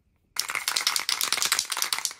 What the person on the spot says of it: Ce que fait l'aimant, c'est faire taire la bombe aérosol.